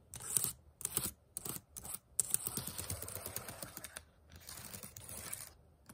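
Fingertips and nails rapidly type on the plastic keys of a white HP laptop keyboard. Quick bursts of bright, clicky taps with a scratchy high edge are separated by short pauses at first, then run into a steadier, softer stream of tapping and scraping. Each tap is dry and dies away almost at once.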